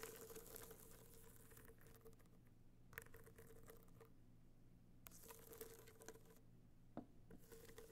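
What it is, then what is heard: Hard-shell box clutch. Long nails tap and scratch a small, rigid, hollow gold box clutch covered in metallic material with raised dots, held in one hand. Bursts of soft, bright scratching alternate with short quiet pauses and a few sharp taps, over a steady low hum and a faint mid-pitched ring. The sound stays quiet and close throughout.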